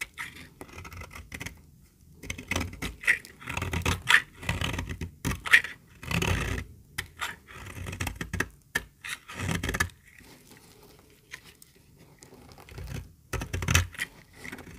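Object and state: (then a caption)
Very dry bar soap. A small, solid, dry white bar of soap is held in the hand and shaved with a metal utility-knife blade, letting flakes break off. Short, crisp scraping strokes come in uneven bursts, each with a bright, dry crackle and a soft low thump, separated by brief pauses.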